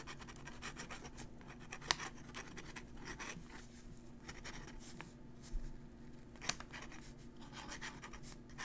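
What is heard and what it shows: A metal dip-pen nib, held in the fingers, scratches across a crumpled thin paper sheet while writing. Soft, dry scratching strokes run throughout over a faint steady low hum, with a few sharper ticks where the nib catches the paper.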